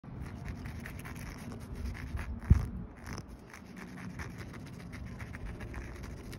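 A bare hand scratches and rubs across the top of a solid outdoor concrete curb with a rough, speckled aggregate surface, using fingernails and fingertips. The result is a steady, low, gritty rasp of continuous scraping, with one sharper, louder scuff partway through before it settles back into a soft, even rub.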